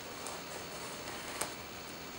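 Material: Nothing is struck.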